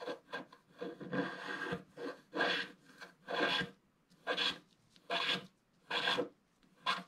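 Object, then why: Black-coated scratch-art card scratched with a wooden stylus. A wooden stylus scratches across a large area in the lower right of a flat, black-coated scratch-art card. Dry, raspy scraping strokes come in bursts of roughly a second, busy and overlapping at first, then spaced apart with quiet gaps between them. The rasp is broadband and bright, with little low end.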